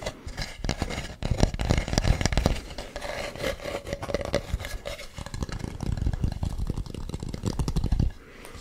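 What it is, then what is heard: Carved wooden mask. Fingernails scratch and rub the ribbed surface of a hollow carved wooden mask close to the microphone, producing a dense run of dry, low-heavy scraping strokes with brief quick-decaying ticks. The rubbing continues steadily for about eight seconds, then drops to a quiet hush.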